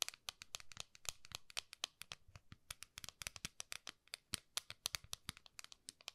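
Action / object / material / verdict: tap / round metal tin lid / metal / none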